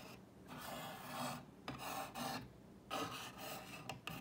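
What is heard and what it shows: Long painted fingernails trace and scratch along the painted white lettering and across the plank grooves of a solid, medium-sized flat wall sign made of dark brown wooden planks with a mason jar outline. The result is a series of dry, raspy scratching strokes with a bright, airy hiss, each swelling and fading with short pauses between them.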